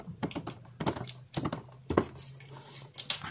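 Fingerless-gloved fingertips tap and scratch a hollow, full retail box of printed cardboard with a clear plastic front window, holding a Transformers Studio Series Dropkick figure, as the box is held in both hands and turned to show its side panel. The clip has short, dry, irregular taps and bright scratchy clicks that die away almost instantly, over a faint steady low hum.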